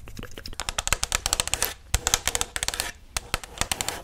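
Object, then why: Paper cup. Long matte black nails tap and scratch the outer wall of a tall, hollow white Chipotle paper cup held in one hand. The result is a rapid series of crisp, bright clicks and papery scratches with brief pauses, each tap dying out almost instantly.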